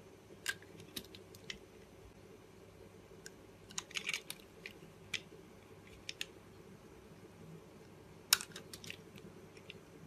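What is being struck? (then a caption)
Soap bar cut with a metal blade. A metal blade cuts and scrapes thin slices off a solid blue bar of soap held between the fingers. Short, crisp, bright clicks and scraping crackles come at irregular intervals over a faint low background hum, with the sharpest snap near the end.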